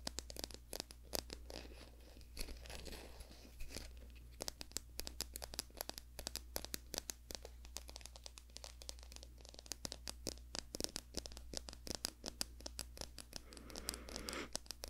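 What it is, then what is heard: Wooden wide-tooth comb. Long nails scratch and rake across the wide teeth of a small, solid, light-brown wooden comb held in both hands close to the microphone. The result is a dense, continuous run of quick, dry, crackling clicks with a bright edge, riding over a steady low hum.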